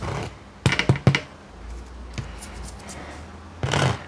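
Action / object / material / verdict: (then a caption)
knock / baked bread loaf crust / bread crust / crusty. A freshly baked homemade no-knead bread loaf is tapped on its crust, giving a quick run of dry, hollow knocks followed by a later burst of scratchy crackling taps. The crust sounds crusty and is well browned.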